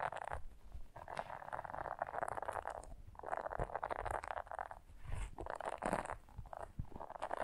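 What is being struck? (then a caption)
Silicone scrubber brush. Long fingernails scratch the soft bristles of a small blue silicone scrubber brush held and slightly bent in the fingers. The result is quiet bursts of dry, rustling scratches centered in the mids, separated by brief pauses, with a faint low rumble underneath.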